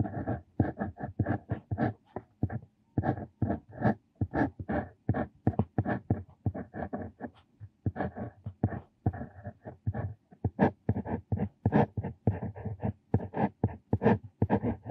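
A metal square dip pen nib, held in the hand, scratches across a flat, thin lined paper notebook page while writing calligraphy lines. The clip is a close, steady series of short, dry nib-on-paper strokes with brief pauses between them. The strokes are low and papery with a soft scratchy edge.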